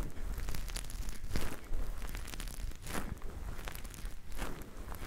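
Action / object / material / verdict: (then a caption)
scrape / synthetic fur microphone windscreen / synthetic fur / none. Fingertips squeeze and knead two fluffy grey faux-fur windscreens, the soft covers over the capsules of a binaural microphone, throughout. The fur gives a close, continuous crinkly rustling with muffled low thumps and brief brighter crackling swells, the sound dominated by deep, soft rumble.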